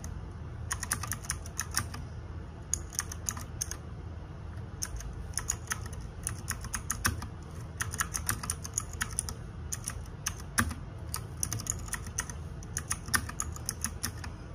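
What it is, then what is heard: Plastic mechanical keyboard. Fingertips and nails type on the plastic keycaps of a small RGB-backlit 60% mechanical keyboard. Bursts of quick, bright clicks and clacks come in clusters separated by short pauses, over a steady low hum.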